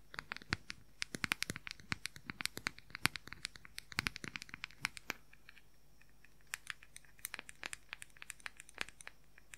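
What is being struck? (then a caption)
Plastic powder compact. A round, palm-sized, light-colored plastic makeup powder compact is scratched and tapped with fingernails on its lid and sides. Fast, sharp, bright clicks and scratches come in dense bursts, pause briefly just past the middle, then resume more sparsely. Each tap dies away almost instantly.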